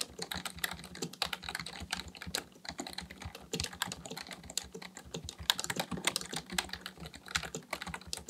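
Fingertips of both hands type continuously on a black plastic full-size Dell KB1421 membrane keyboard with a hollow housing, resting on a desk, pressing and tapping keys. The result is a steady stream of quick, bright, hollow clicks and taps that die out almost instantly, with a faint low hum underneath.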